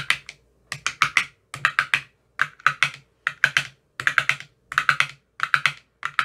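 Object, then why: Plastic ice cube tray with silicone cups. A thin metal rod with a white tip taps the cells of an empty clear plastic ice cube tray with green silicone cell bottoms. About 30 quick, crisp, clicky taps come in short bursts of three or four, each with a bright attack, a faint low thump and a very short decay.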